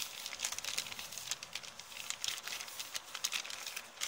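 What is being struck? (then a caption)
Kraft paper shopping bag. An empty kraft paper shopping bag with blue print is held flat and scratched and crinkled with long painted nails. The result is a dense run of dry, bright crinkles and scratchy ticks, almost entirely high-pitched with no low end, each crackle stopping instantly.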